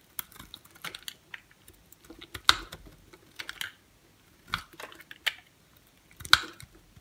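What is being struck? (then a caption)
Bar soap shaved with a blade. A utility knife blade shaves thin slices off a solid white bar of soap with a pink rim, held in the hand, in scraping cuts. The result is a series of short, crisp, bright scraping and crackling bursts with quiet gaps between them. A few strokes stand out louder and sharper.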